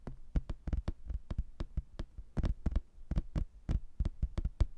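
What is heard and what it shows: A thin, solid cork-backed laminated hardboard placemat with a castle picture is held up and tapped and scratched with fingernails and fingertips. About twenty quick, dull, low thuds land in an uneven rhythm, each dying away almost at once, with a faint scratchy wash between them.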